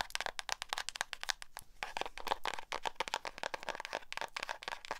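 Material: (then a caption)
Cardboard. Long acrylic nails rapidly tap and scratch the cover of a small black hardcover spiral notebook with an elastic band, held close to the mic. The result is a dense run of short, dry clicks with crisp, bright edges and a light scratchy texture between them.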